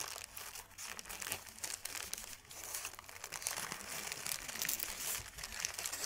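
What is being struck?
Thin paper sheet.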